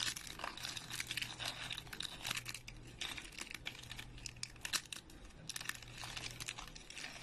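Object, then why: Soap chips. Fingers break and crush small, dry, speckled, thin soap chips over a pile of the same chips. A dense, bright crackling and crunching continues throughout, with a faint steady low hum underneath.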